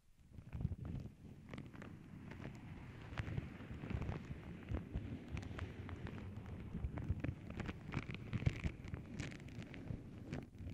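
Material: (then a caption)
Paper. Long nails scratch and tap across the surface of a flat tissue paper sheet printed with paw prints. The sound is a continuous, dense papery rustle with a heavy low rumble, dotted with quick, dry ticks and occasional brighter crinkles.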